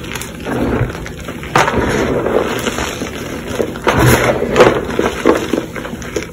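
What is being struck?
Reformed chalk powder crushed by hand.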